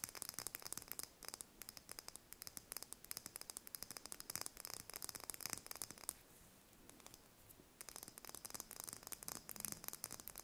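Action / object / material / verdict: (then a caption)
tap / chicken egg shell / eggshell / none. Long red nails rapidly tap and scratch a single thin-shelled brown chicken egg held in the hands, producing quiet, bright, crisp clicks with almost no low end. The tapping pauses for a soft, hissy scratch from about 6 to 8 seconds, then resumes.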